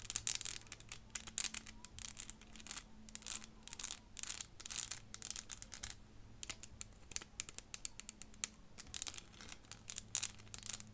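Long fingernails rapidly tap and scratch a small clear plastic 3D elephant puzzle of interlocking pieces held in the hands. The result is a dense run of dry, bright clicks and scratchy rustles that stop instantly without ringing, over a faint steady low hum.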